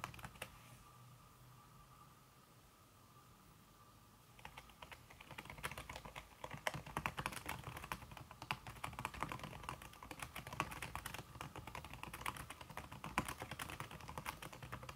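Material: Aluminum, silicone.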